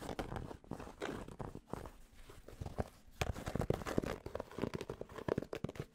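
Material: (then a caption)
Cotton fabric. Fingertips tap and scratch on the hollow crown of a grey cotton Penn State baseball cap held in both hands. The result is rapid, soft, muffled taps mixed with dry, rustling fabric scratches that stay mostly low and mid in pitch and stop dead with no ring.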